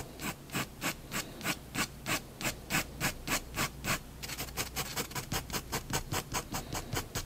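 A fineliner pen tip scratches short shading strokes under a drawn cat on a flat white paper sheet resting on a wooden desk. About thirty dry, bright scratching strokes sound in a steady back-and-forth rhythm, quickening after about four seconds.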